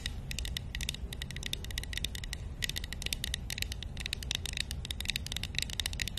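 A small, hollow, painted wooden matryoshka nesting doll, held in one hand, is tapped and scratched with long nails. A rapid, steady stream of short, bright clicks and scratchy ticks, centered around 3.8 kHz, sits over a constant low rumble. Each tap stops almost at once, with no ring.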